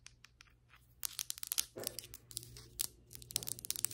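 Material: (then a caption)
Ceramic. Long acrylic nails scratch and tap along flat, solid ceramic floor tiles and their grout lines. Many quick, bright, dry rasps and clicks sit high in pitch, some sharp and brief, others drawn out into short scraping strokes. A faint low, steady hum runs underneath.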